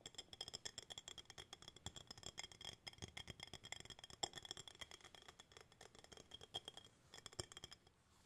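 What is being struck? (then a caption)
Empty glass jar with bamboo lid. An empty clear glass jar with a bamboo lid is held in both hands and tapped on its glass sides with fingertips and nails. The result is a rapid, irregular run of light, bright clicks and taps with a high glassy ring around 3.3 kHz that dies away almost at once. The tapping continues steadily for about eight seconds and stops just before the end.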